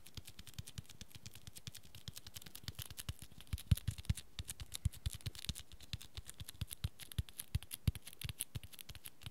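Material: Cloth, board.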